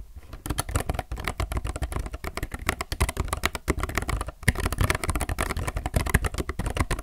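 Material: Plastic.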